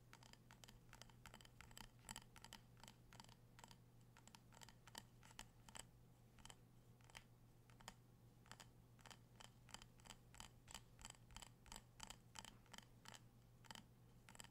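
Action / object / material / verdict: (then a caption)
tap / wax-filled glass candle jar / glass / none. A small amber-orange glass candle jar filled with wax, with a metal rim and a printed "Harvest Gathering" label, is held in the hands and tapped with fingertips and nails. Dozens of quick, crisp clicking taps come in uneven bursts, each dying away almost at once over a steady low hum.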